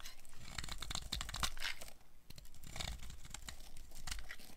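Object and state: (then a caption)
Dry soap bar carved. A metal blade scrapes and carves chunks off a blue-and-white striped bar of solid dry soap held in the hand. The sound is a dense run of dry, crunchy, crackling scrapes, with bright crisp edges over a low, thumpy body. The scraping pauses briefly around the two-second mark, then continues.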